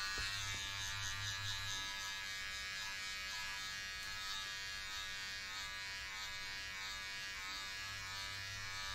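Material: Nothing is struck.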